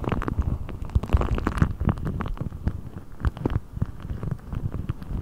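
A thin-skinned, hollow blue deflated rubber ball stretched over a microphone is pulled and rubbed with fingertips. It makes a dense run of low, muffled rubbery scrapes, creaks and quick pops. Each snap dies out almost at once, leaving a close, bassy rumbling texture.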